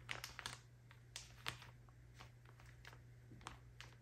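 A soft plastic packaging bag full of cotton pads is held in the hands and scratched and tapped with long acrylic nails. About ten quiet, irregular, crinkly clicks and taps come through with bright, short plastic rustle over a steady low hum.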